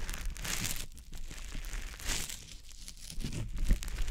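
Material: Konjac sponge.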